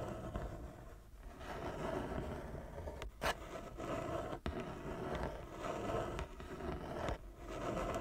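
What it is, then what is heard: Wooden chess board being scratched. Long nails scratch the surface of a large, flat wooden chess board with inlaid squares, using both hands. The result is a steady, dense, dry scraping with most of its weight in the low and middle range, broken by a few brief dips and sharp clicks.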